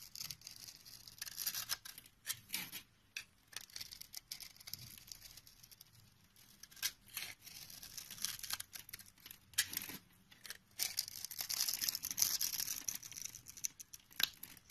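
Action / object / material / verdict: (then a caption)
scrape / soap bar cut with a knife blade / soap / none. A utility knife blade scrapes small cubes off a hand-sized, solid dark brown soap bar with a grid cut into its surface, held in the palm. The sound is a dense run of crisp, bright scraping and crackling clicks that come in irregular bursts with brief quiet gaps, and there is almost no low end.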